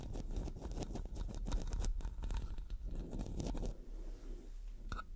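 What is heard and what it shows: Long dark nails scratch the metal mesh head of a black studio microphone, moving between the left and right mics. Dense, crunchy scraping rasps close and heavy in the low end, easing slightly after about four seconds before a last brighter scrape near the end.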